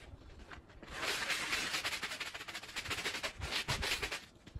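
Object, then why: Woven fabric rug. A handheld bristle brush scrubs a small, very dirty, fringed woven fabric rug that is wet and soapy, in quick, uneven strokes. The sound is a bright, hissy, scratchy swishing that surges and fades with each pass, with faint low thumps underneath and quieter moments at the start and end.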